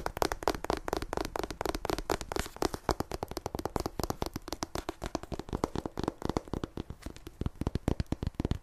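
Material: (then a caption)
Paper. Long nails rapidly tap and scratch the glossy paper cover of a solid paperback copy of "Fragile Things" held in both hands. Dozens of quick, dry taps run steadily together, mixed with short scratchy swipes, each tap cut off almost instantly with a soft, low thud under a mid-range click.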